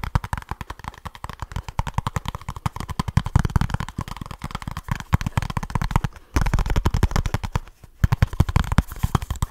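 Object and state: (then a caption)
Cardboard box. A small kraft cardboard product box with a printed label is tapped and scratched very fast with fingertips and short nails. The result is a dense, rapid stream of dry, dull, low taps with almost no ring, broken by a brief pause near the end.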